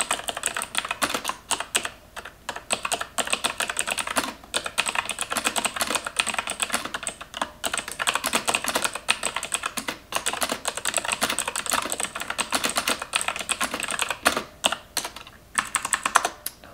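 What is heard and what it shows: Long nails type continuously on the keys of a black plastic computer keyboard. The result is a steady stream of sharp, bright plastic clicks with short pauses between bursts of typing, each tap dying away almost instantly with very little low end.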